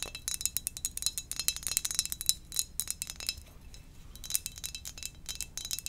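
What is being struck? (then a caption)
Glazed ceramic mug. Fingernails rapidly tap the glazed surface of a hollow, glossy black ceramic mug shaped like a Darth Vader helmet. The quick, irregular taps make bright, high-pitched clicks with a faint ringing tone that dies away almost at once. The tapping briefly thins out near the middle before picking back up.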